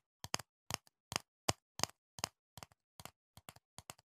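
Fingertips tap on a medium, hollow, clear plastic jar full of green foam earplugs, held close to the mic. Dry, bright clicky taps come in quick clusters of two or three, with almost no ring and short silences between them.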